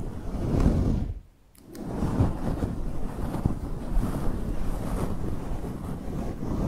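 Long acrylic nails on both hands scratch and rub a large, fluffy grey faux fur microphone windscreen, giving a dense, muffled low rustling rumble. The scratching drops to near silence for about half a second early on, then resumes steadily to the end.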